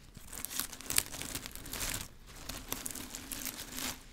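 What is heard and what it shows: A bunch of green plastic artificial grass leaves is held close to the mic and rubbed, crinkled and brushed with long nails and fingers. The result is a dense, bright crinkling rustle with sharp crackly spikes. It briefly quiets around the two-second mark, then resumes.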